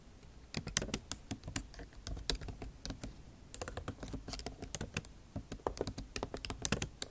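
Long nail tips type on the backlit keyboard of a MacBook Pro, which has plastic keycaps set in an aluminum body. The keystrokes come out as sharp, bright clicks with a soft low thump. They fall in quick, uneven bursts with short pauses between them.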